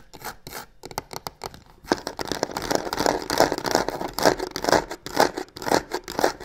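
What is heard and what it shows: Long nails scratch along the textured sides of a hollow black croc-embossed faux leather box with stitched seams, producing quick, rasping strokes with a bright, papery edge. The first couple of seconds are quieter and sparse, then the scratching turns louder and denser in steady, rhythmic bursts.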